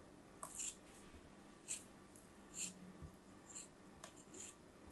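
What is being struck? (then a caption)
Kinetic sand block cut with a metal palette knife. A small metal palette knife slices and scrapes through a palm-sized, solid block of moulded brown kinetic sand with beige swirls, held in a hand with long pink-painted nails. Other sand shapes sit nearby. A series of short, quiet, bright, crisp scrapes and grainy crunches stands out against a low, steady hiss, each cut dying away quickly.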